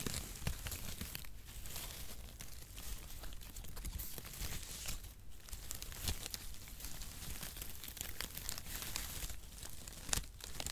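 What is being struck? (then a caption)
Cardboard packaging shreds. A wide mat of crinkle-cut cardboard packaging shreds is held above the microphone while fingers crumple and spread it. It makes a steady, dry crinkling and rustling with bright crackles and soft low handling thumps, and a few sharper crunches stand out near the start and end.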